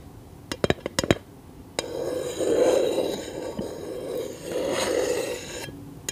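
Long nails tap a scented candle in a glass jar, giving seven quick, glassy clinks within the first two seconds. A continuous scraping, rasping sound follows, swelling twice with a low hum before it stops near the end.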